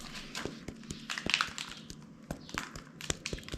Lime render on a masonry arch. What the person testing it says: Everything's nice and solid. In fact, it's hurting my knuckles.